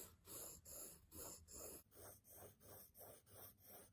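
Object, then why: Graphite pencil on a stack of kraft paper sticky notes. A graphite pencil scratches and scribbles across the top sheet of a small, square, solid stack of brown kraft paper sticky notes on a table, while the other hand holds the pad. About eight rhythmic, back-and-forth scratching strokes follow one after another with short gaps between them. Each stroke is a dry, gritty scrape with a bright hiss over a soft papery midrange.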